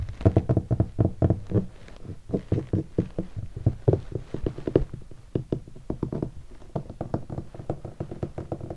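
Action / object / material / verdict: tap / leatherette-covered hardshell guitar case / leatherette / none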